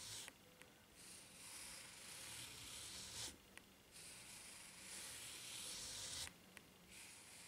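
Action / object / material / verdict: scrape / ridged rubber flip-flop sole / rubber / none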